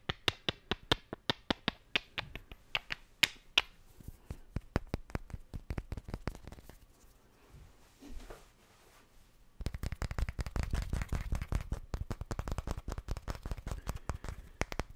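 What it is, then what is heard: Small wooden blocks clicked together. Small solid wooden cubes are tapped and clicked together by hand close to the mic, giving sharp, dry clicks with a bright edge around 2.2 kHz and almost no ring. Distinct, evenly spaced clacks soften into lighter taps, pause briefly with a faint rustle around eight seconds, then give way to a dense, rapid stream of clattering clicks until the end.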